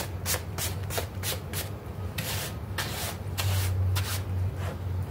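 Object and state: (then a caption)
Synthetic turf doormat being scrubbed. A bristle brush scrubs a small, foamy, green artificial-grass synthetic turf doormat in circular and straight strokes. Each stroke gives a bright, scratchy rasp in an uneven rhythm, over a steady low hum.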